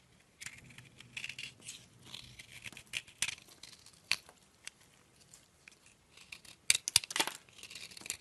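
A metal blade scrapes across a partly carved, solid green oval soap bar, crumbling soap off into powdery shavings. Dry, bright scraping and crinkly crumbling sounds come in uneven bursts, with sharper crisp crackles near the end.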